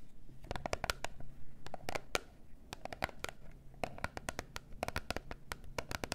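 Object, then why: Small printed cardboard box. Long nails tap and scratch a small, hollow, gold-and-pink printed cardboard box of peel-off face masks with contents inside, held in both hands. The result is a quick run of sharp, dry clicks and scrapes that die away almost instantly. A faint low hum sits underneath.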